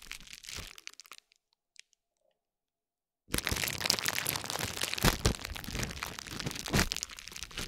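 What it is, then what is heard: Plastic bubble wrap. A metal spiked roller is repeatedly rolled across and pressed into a layered plastic bubble wrap pad, giving crunching and crackling sounds. A short burst of brief crackles is followed by a near-silent pause of about two seconds, then a dense, continuous run of bright crunching and crackling to the end.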